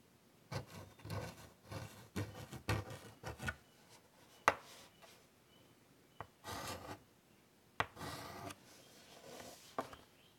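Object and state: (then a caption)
Chalk scratching on a chalkboard. White chalk scratches detail lines across the surface of a large wood-framed chalkboard in short, dry, rasping strokes. The strokes come in quiet bursts separated by pauses, with a few sharp taps as the chalk strikes the board.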